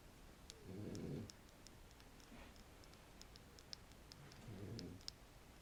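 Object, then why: Wooden stick. A wooden stick is scratched and tapped close to the microphone, producing two soft, low, rumbling scratch bursts with many light, bright ticking clicks scattered between them. The taps are short and dry, dying away almost instantly.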